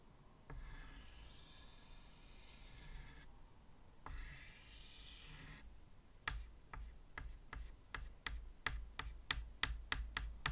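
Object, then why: Chalk on a wooden-framed chalkboard. White chalk is drawn across a medium, flat chalkboard in a wooden frame, making two long, soft, scratchy strokes with a bright hiss. Then the chalk tip is tapped repeatedly on the board to make dots: about a dozen quick, sharp clicks that come faster and slightly louder toward the end.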